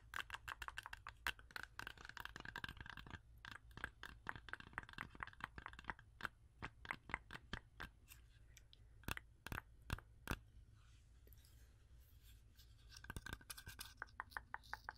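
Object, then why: Whole fresh apple. Long acrylic nails rapidly tap and scratch a whole, fresh, solid red-yellow apple held close to the microphone. The result is a stream of crisp, dry clicks with brief scratching, centered around 2 kHz, over a faint low hum. The tapping thins out to a quiet scraping stretch near the end before quick taps resume.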